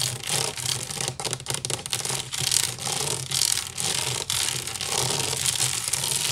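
Fingernails scratch quickly across the weave of a large, hollow woven wicker basket. The result is a dense, bright, rasping scratch that runs almost without a break, with brief dips between strokes, over a faint steady low hum.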